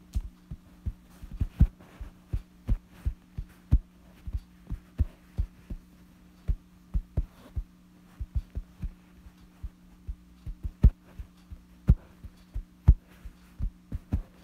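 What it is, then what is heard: Fabric bedsheet. Fingertips scratch and rub a wrinkled, light fabric bedsheet, giving about 22 short, dull, thumping taps and scratches. A steady low hum sits underneath throughout.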